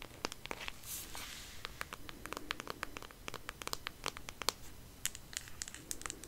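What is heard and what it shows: Long nails tap and scratch a flat cardboard eyeshadow palette with a white marble print, held close up. About 35 quiet, sharp clicky taps land in quick irregular succession, mixed with soft scratchy rustling. The sound is dry and bright, with no ring after each hit.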